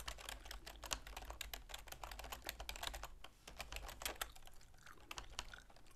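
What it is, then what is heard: Plastic computer keyboard. Long manicured fingernails and fingertips type rapidly on a full-size black plastic keyboard with a silver plastic frame resting on a wooden desk. Quick, dry, bright clicks and taps come in a dense, uneven stream over a faint, steady low hum, with a short lull partway through.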